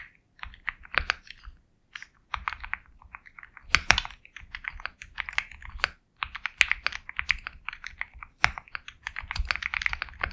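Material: Plastic.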